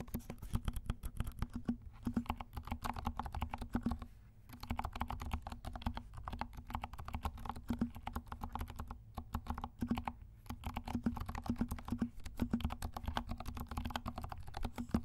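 Fingertips of both hands type steadily on a compact 68-key mechanical keyboard with dark plastic keycaps and silent switches. Rapid, soft, muted keystrokes thud low with very little bright click. The typing stops briefly around 2, 4, 9 and 10 seconds.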